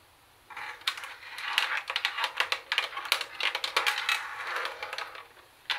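Long nails tap quickly and irregularly on the black plastic CD lid and small buttons of a plastic CD cassette boombox. The result is a dense run of bright, dry plastic clicks that die away almost instantly, with no low end.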